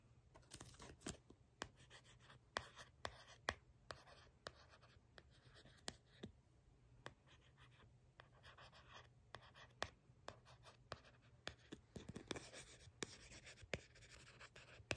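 Long pink nails tap and scratch the surface of a small, thin, solid black cardstock tag printed with "Wet Seal," held in one hand. Crisp, short clicks and dry scratching sounds repeat throughout, with no ring after each one. A steady low hum sits beneath them at a quiet level.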